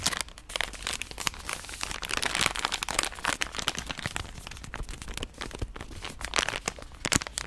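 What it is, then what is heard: Plastic wet-wipe pack being crinkled. A pink soft plastic wet-wipe pouch is rubbed between the palms and scratched with long nails. It makes a continuous, bright crinkling and crunching, with quick sharp bursts that stop dead.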